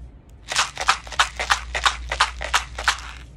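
A tube holding beads, tube number one, is shaken a second time, giving a steady run of bright, dry rattling bursts, about three per second. The beads clatter sharply against the tube with little low end, and each burst stops quickly over a faint low hum.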